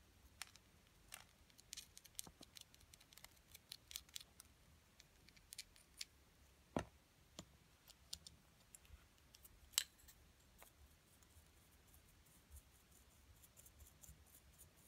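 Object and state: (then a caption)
Plaster excavation block being scraped. A wooden stick scrapes at the white plaster of a small, solid, purple-coated plaster excavation block resting on a table, with a brush also used briefly. Quiet, irregular bright scratches and sharp ticking clicks are heard, with two louder snaps standing out midway through the clip.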